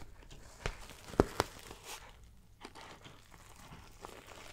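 Long black-painted nails tap and scratch the front panel near the logo patch of a dark green Fjallraven Kanken backpack made of hollow, soft synthetic canvas. Five soft, dull taps stand out over a quiet, rustling scratch, with the two sharpest taps close together just past the first second.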